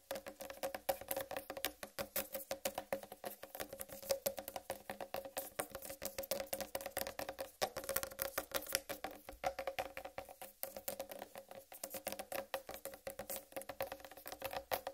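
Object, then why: Whole watermelon, rind tapped with fingernails. Long red nails tap rapidly on top of the rind of a large, solid whole watermelon, making a dense run of short, dry clicks. Each tap carries a hollow tone around 540 Hz with a bright edge, and the sound dies away almost instantly.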